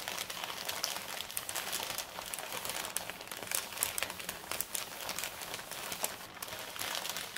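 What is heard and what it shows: Both hands rub and scratch the plain back side of a large, flat, empty brown kraft paper mailer bag with fingertips and long red nails. A steady, dry crinkling and scratching texture fills the clip, bright and papery with almost no low end, dotted with many small sharp ticks that die away instantly.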